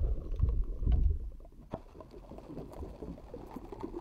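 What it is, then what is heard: Metal mesh microphone grille. Long acrylic nails tap and scratch the round, hollow metal mesh grille of a rhinestone-decorated pink microphone. Deep, boomy thumps rumble through the first second, then fade into quieter, crackly scratching with a single sharp tap partway through.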